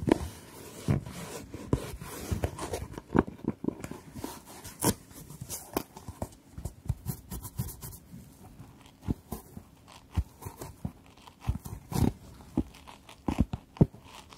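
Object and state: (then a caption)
Fabric-covered hard jewellery box. Long nails tap the lid and sides of a long, closed, hard jewellery case covered in patterned fabric, resting near the microphones. The taps are short, dull and low-heavy, dying away almost at once, with faint scratchy rustles between them. They come in an uneven rhythm of scattered clusters over the whole clip.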